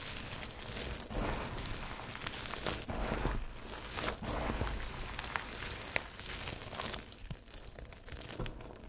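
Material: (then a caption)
Soap. Fingertips scoop and rub a heap of small, multicolored, dry soap crumbs and chips, crushing small pieces between the fingers. A steady, dense crinkling and crunching rustle runs throughout, with a soft low rumble underneath and occasional sharper, bright crackles.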